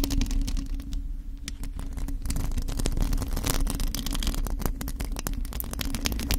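Long acrylic nails of both hands scratch the bare black metal mesh grille on the hollow head of a USB condenser microphone. Rapid, dense scratching clicks sit over a heavy, steady low rumble and hum, with bright crackle on each stroke.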